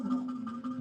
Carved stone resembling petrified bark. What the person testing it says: It has a very hollow sound. Very hollow. It sounds like metal.